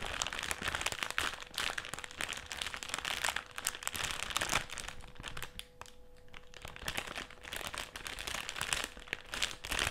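Fingertips and short nails scratch and press across a black and silver foil-lined metallised plastic crisp packet with crisps still inside, lying flat on a white table. Dense, bright crinkling and crackling runs throughout, easing briefly to a softer scratching near the middle before picking back up, with a faint steady hum underneath.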